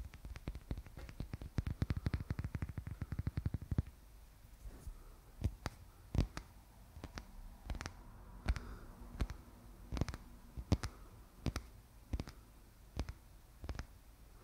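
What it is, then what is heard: Painted wooden egg tapped with fingernails. Fingernails tap and click on a small, solid painted wooden Easter egg with a glossy black finish and red floral folk patterns. A rapid flurry of short, dry clicks runs for about four seconds, then slows to sparser, scattered taps over a quiet background. Each tap dies away almost instantly.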